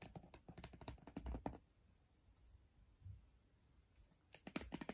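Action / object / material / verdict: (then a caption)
tap / laptop glass display in aluminum frame / glass / none. Long dark-painted nails tap and scratch the glass display and aluminum bezel of an open MacBook Air laptop with its screen off, a thin, rigid surface. Quick, dry clicking taps come in a rapid flurry, fade into a near-quiet stretch with faint scratching, then return in a sharper burst at the end.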